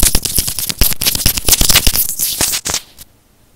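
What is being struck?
Plastic earphone inline microphone housing.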